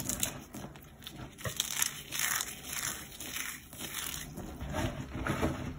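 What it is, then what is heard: Dry, brittle cornstarch crumbs. Fingertips and nails pinch, crush and rub small pieces from a heap of crumbled, dried cornstarch chunks and powder that is solid and brittle. The result is a steady stream of close, dry, bright crunching and crackling that swells and fades in soft waves, with short sharp snaps as pieces break.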